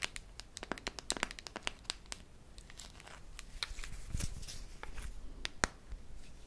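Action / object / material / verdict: tap / metal tin can / metal / none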